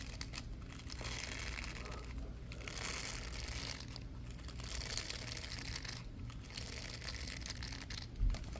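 Latex-gloved fingers quickly scratch the plastic bristles and ridges of a small, purple, ridged plastic block fitted with a patch of bristles. The result is a continuous, dense, crinkly rasp with bright scratchy texture over a steady low rumble, dipping briefly about every two seconds. A short louder bump comes near the end.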